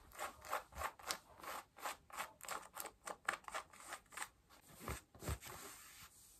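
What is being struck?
Cotton denim jeans.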